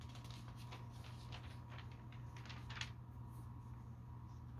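Fingertips lift and turn the pages of a thin glossy paper store catalog, one by one, as it lies open on a carpet. Soft, brief papery flicks and rustles, brightest on one crisp turn near the end, sit over a steady low hum and a faint constant midrange tone. The whole clip is quiet.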